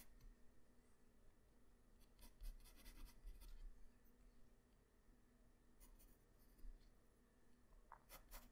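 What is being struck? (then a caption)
Graphite pencil on a paper sheet. A graphite pencil tip draws detail lines on a flat white paper sheet, giving soft, dry scratching strokes. Bright, brief bursts of scratching cluster in short runs over a quiet, steady low hum, with the busiest stretch early in the clip and a few quick strokes near the end.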